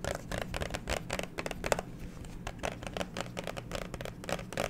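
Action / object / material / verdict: tap / clear plastic phone case / plastic / none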